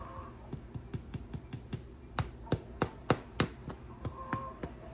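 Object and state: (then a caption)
Baked-through bread loaf (hollow). A baked homemade bread loaf is tapped 13 times in a quick, somewhat uneven series, giving short, dull, low-pitched knocks with almost no ring. The taps sound a little hollow, showing the loaf is baked through and done.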